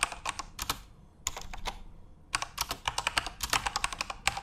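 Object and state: Plastic mechanical keyboard.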